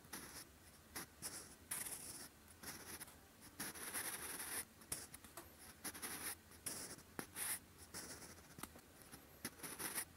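A sharpened wooden pencil writes in handwriting strokes on a lined grey-beige paper notebook page, its graphite tip scratching across the paper surface. Quiet, bright, dry scratching comes in bursts of varying length, separated by brief pauses between strokes.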